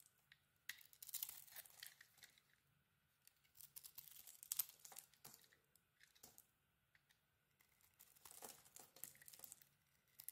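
A metal utility knife blade shaves curls from a solid cream soap bar with a green glitter coating, held in hand. Bright, crisp scraping and crackling strokes come in several bursts with quiet gaps between them, and each stroke dies away almost at once.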